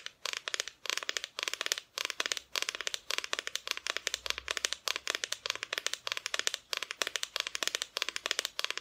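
Long nails tap rapidly on the front of a flat, solid, painted wooden Christmas decoration cutout, in quick bursts with short pauses. Each tap is a dry, bright click that dies away almost instantly, with almost no low end.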